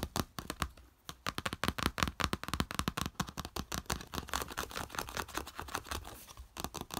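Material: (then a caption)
Plastic. Fingertips and nails rapidly tap and scratch a small, flat yellow plastic plate with a slotted raised edge as it lies on beige fabric. Dense runs of sharp, dry clicks with quick scratchy strokes come almost without pause, with a short lull just before the one-second mark and another near six and a half seconds.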